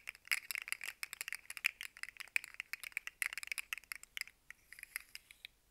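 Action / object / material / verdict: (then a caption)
shake / segmented plastic fidget slug toy / plastic / none. Hands twist and dangle a rainbow segmented plastic fidget slug with hollow segments, making the segments click and rattle. A rapid, uneven stream of dry, bright, quiet clicks has no low end and no ringing. The clicks thin out toward the end.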